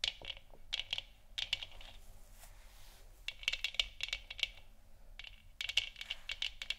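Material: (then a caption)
Plastic. Long nails of both hands tap the sides of a hollow, lit plastic moon lamp sphere resting on a wooden stand. The taps come in quick bursts of sharp, bright clicks centered near 3 kHz, with pauses between them. Each click stops almost at once, giving a dry, hollow plastic ticking.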